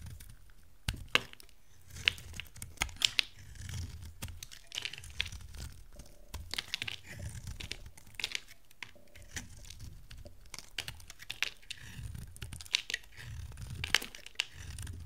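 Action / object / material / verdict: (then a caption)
scrape / bar of soap cut with a knife blade / soap / none. A rectangular bar of dry soap, cream with a dark blue rim, is held in hand and cut and shaved into chunks with a metal utility knife blade. Crisp, bright crackling and crumbly scraping come in short bursts, with sharp snaps as pieces break off and soft low thuds between strokes. Each sound stops almost at once, with no ring.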